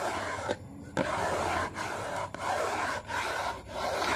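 Fingernails tap and scratch across the printed crossword side of a small, hollow, yellow and blue Maggi cardboard soup box. A steady, papery rasp runs through the clip, broken by short pauses, with two sharp taps near the start.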